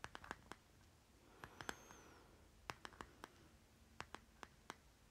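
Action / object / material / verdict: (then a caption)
tap / small plastic jar / plastic / none. A short fingernail taps and scratches the stickered bottom of a small round plastic lip butter jar with a green plastic lid, held on its side. Sixteen quiet, dry clicks ring around 1.5 kHz in irregular clusters, with a faint scratching passage in the middle. Each hit dies away almost instantly over a soft, steady background.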